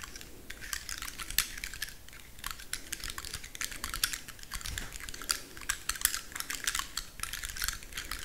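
Long manicured nails scratch and flick along the woody scales of a large, dry brown pine cone held upright in both hands. The result is a dense, dry series of sharp, bright clicks and ticks with almost no ring, over a faint low hum.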